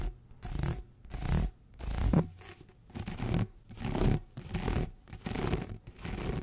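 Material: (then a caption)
Plastic. Fingertips and nails run quickly along the ridges of an orange ribbed, corrugated plastic tube held across the mic. The result is a series of rapid, uneven scratching and rubbing bursts, heavy in low, dull rumble with only a faint bright edge.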